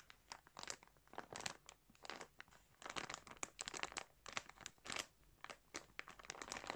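A hand presses and rubs the fingertips over a large clear plastic bag full of yarn balls, crinkling the plastic. Quiet, bright bursts of crinkles and sharp crackles come in uneven clusters with short pauses between them, with almost no low end.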